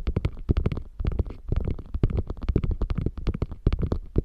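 Long nails scratch along the flap edge and stitched seam of a small, hollow, beige quilted faux leather bag, then scratch across its quilted top. The result is a fast, steady run of short, dull scratching strokes with a deep, hollow, low-heavy tone and almost no bright edge. The strokes die away almost instantly.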